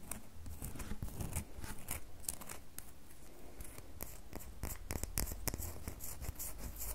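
Long fingernails scratch and tap a solid red bar of soap held in the other hand. Soft, dry scratching is broken by quick, bright clicking taps over a steady low rumble. Each tap dies away almost at once.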